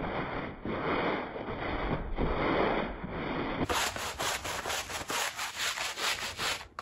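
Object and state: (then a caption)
Woven fabric rug being scrubbed. A green push broom scrubs a small, very dirty woven fabric rug that is wet and foamy. A steady, rough scrubbing hiss runs for about three and a half seconds, then turns brighter and choppier as separate strokes rasp back and forth across the soaked weave.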